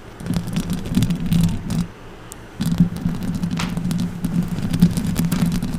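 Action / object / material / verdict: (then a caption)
scrape / metal mesh microphone grille / metal mesh / none. Long orange acrylic nails scratch the hollow metal mesh grille of a silver condenser microphone with both hands. The result is a dense, low, rumbling scratch with crackly texture and a steady low hum underneath. It comes in continuous bursts with a brief quieter pause partway through.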